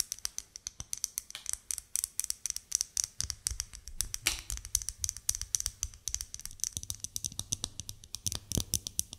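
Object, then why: Bar of soap. Long nails rapidly tap and scratch a solid white bar of soap held in the hands. Quick, sharp, bright clicks follow one another steadily, with a brief scraping rub near the middle and a faint low rumble underneath.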